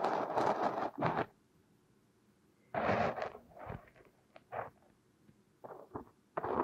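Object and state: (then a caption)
Kinetic sand scraped with a metal hook. A thin metal hook tool scrapes and digs crumbly purple kinetic sand out from where it is packed over a silicone nose. About ten bursts of gritty, rustling scraping sit in the midrange around 900 Hz and reach up to bright highs. Quiet pauses fall between the bursts.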